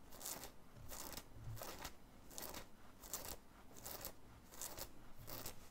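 Fingernails scratch the stiff printed graphic on the chest of a worn black cotton t-shirt in rapid strokes. Quiet, bright, scratchy bursts of friction repeat at an uneven pace over a low, soft rumble.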